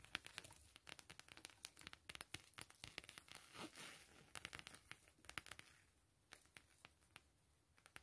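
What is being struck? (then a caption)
Coated canvas zip wallet. Long acrylic nails and fingertips tap and scratch the face of a thin, empty, flat camo/map-print coated canvas zip wallet with a metal zipper, resting on bubble foil. Quick, crisp, bright taps and crinkly scratches come in dense bursts, with a smoother rasping scrape swelling in the middle. The sound thins to sparser, quieter taps near the end.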